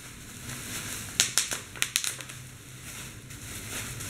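Clear plastic bubble wrap is crumpled and squeezed by hand to pop its bubbles, the hand partly out of view. A quick cluster of sharp, bright pops and crackles rises over a soft, steady rustle, then the crinkling continues quietly.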